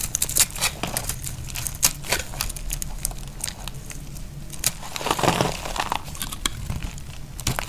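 A dry, solid pink soap bar held in hand is shaved and scraped with a snap-off utility knife blade, and crunchy flakes fall onto a grey mat. Dense, bright crinkling and scraping crackles run throughout, with short sharp snaps over a low rumble.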